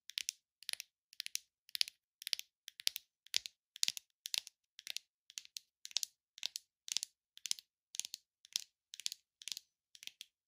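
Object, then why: Leatherette-covered box. Long, glittery nails tap and scratch the grained surface of a small, hollow, rigid gift box covered in red textured leatherette with gold pinstripes, held in both hands. A steady run of quick, dry, bright clicking bursts follows, each made of clustered taps. There is almost no low end and the taps stop dead with no ring.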